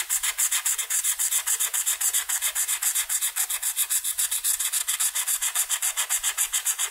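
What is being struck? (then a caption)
Felt-tip marker on a paper sheet. A red felt-tip marker rubs rapidly back and forth over a flat white paper coloring sheet to fill in a wing section. It makes a steady, bright, scratchy swishing in quick, fairly even strokes, with almost no low end.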